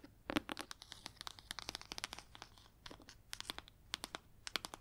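Long red nails tap and scratch the cover and spine of a large, solid, red leather-bound hardcover book. About thirty quick, dry clicks and scrapes follow one another in an uneven rhythm, crisp and bright with almost no low end. Each one stops instantly with no ring.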